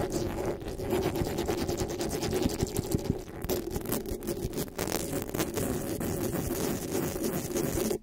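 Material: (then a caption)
Metal mesh. Fingertips and long nails scratch and rub the metal mesh grille of a black desktop microphone. The result is a steady, dense rasping and rustling with a strong low-mid body, many quick scraping strokes blending together at an even level. It cuts off abruptly at the end.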